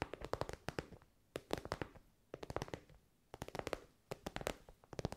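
Long nails tap and scratch an elongated, soft pencil case covered in glossy pink synthetic fabric. Quick dry clicks and rustling scrapes come in four clustered bursts with brief quiet gaps between them. Each tap dies away almost instantly, leaving a soft midrange patter with bright, crisp edges.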